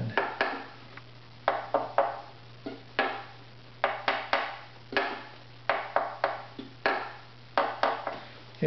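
A maple bridge on a strung, hollow wooden violin lying on a lap is tapped on its top about 20 times with a thin stick-like tool held in the fingers. Each tap gives a short, dry tonal knock centered near 785 Hz that dies away quickly, in irregular clusters over a faint steady low hum.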